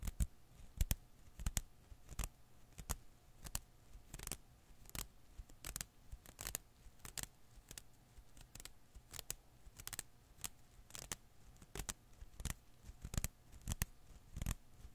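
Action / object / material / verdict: flick / rubber filament Koosh ball / rubber / none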